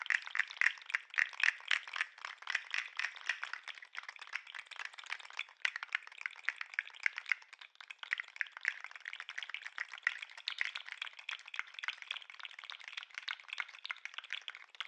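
A segmented plastic articulated lobster fidget toy is held near the microphone while its tail is wiggled with the fingers. Its joints rattle and click in a dense, uneven stream of short, dry clicks. The sound is bright with no low end and fades only slightly over the clip.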